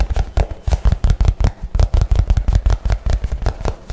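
A soft, hollow light blue nylon messenger bag is held close to the mic and tapped and scratched fast with fingernails. About twenty quick, irregular taps land as dull, deep thumps that die away almost instantly, with a faint scratchy rustle between them.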